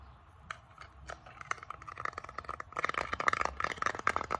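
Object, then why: Small flat bamboo board. A small, flat, solid bamboo board held up in both hands is tapped and scratched across its surface and edges by painted purple nails. Sparse dry clicks and light scratching at first quicken into a dense, louder run of crisp taps with a faint woody ring around 1.2 kHz. The sound is short and bright, with almost no low end.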